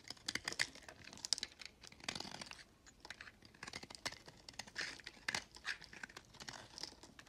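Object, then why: Recycled soap bar shaved with a blade. A box-cutter blade scrapes and shaves thin flakes off a solid peach recycled soap bar held in the hand. The sound is a dense run of crisp, bright crackling and scratchy clicks with little low end, and a slightly longer rasping shave partway through.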